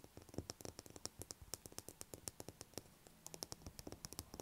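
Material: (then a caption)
Soap. Long acrylic nails tap and scratch a solid blue bar of soap lying on a table. About thirty quick, dry taps land in a rapid, uneven rhythm, each a crisp click with a bright edge and almost no ring, over a faint scratchy hiss. The overall sound is quiet and close.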